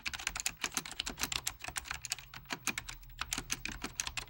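Fingertips of both hands type steadily on a full-size beige plastic Apple Extended Keyboard II with mechanical key switches. A rapid, uneven run of sharp, bright key clicks follows, each snapping off almost instantly with little low-end thump.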